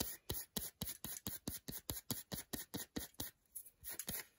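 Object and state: Milk chocolate bar.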